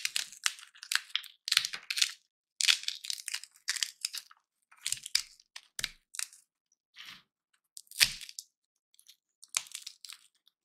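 Single dry peanut shells are held in both hands and cracked open with the fingers, one after another. Each gives a sharp, dry, bright crack with crunchy, brittle rustling and almost no low end. The bursts are short and clipped, separated by brief silences.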